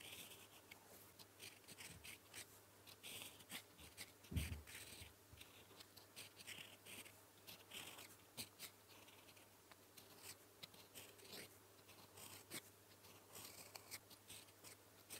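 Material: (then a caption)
Paper. A gold metal fountain pen nib held in the fingers writes blue-ink strokes across a flat sheet of lined paper. It makes a soft, continuous scratching with bright, high bursts on each stroke and a faint low hum underneath.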